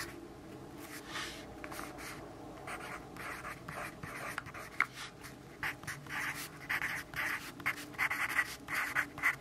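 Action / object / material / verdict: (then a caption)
scrape / graphite pencil on a paper notebook page / paper / none. A yellow graphite pencil writes on the page of an open grid-paper notebook resting on a wooden desk. Soft, bright scratching strokes come in irregular bursts, quiet at first and growing livelier and sharper toward the end over a faint steady hum.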